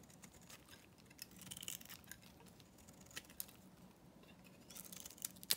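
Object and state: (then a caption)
Dry bar soap being shaved. A solid, dry, pale green bar of dyed soap is held in the hand and shaved with a metal knife blade, breaking off chunks. Quiet, bright, dry scraping and crackling is punctuated by short sharp snaps, with the loudest crisp crack near the end.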